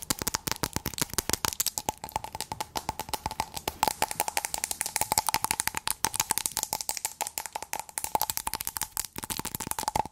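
A small clear glass cup or candle jar filled with a blue substance is held in the hands and tapped and scratched with long acrylic nails. The result is a fast, irregular stream of sharp, bright clicks and scratches with a faint glassy ring near 870 Hz, each hit dying away almost instantly.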